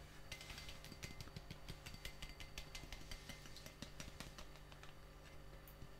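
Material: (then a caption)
Glass. A gloved hand scrubs and rubs a clear, empty, hollow glass drinking tumbler with a bubble-textured surface, inside and out, with a sponge while holding it over a sink of soapy water. Quiet, rapid bright squeaks and clicks of the sponge on the glass run over a steady low hum.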